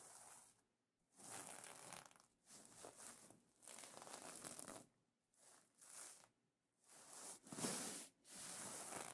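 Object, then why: Plastic sequin fabric pillow cover. Dark-painted nails scratch and fingers rub the plastic sequins of a sequin cover on a soft pillow. It makes bursts of bright, rasping, crinkly scratching, separated by short quiet gaps, with the last few strokes the loudest.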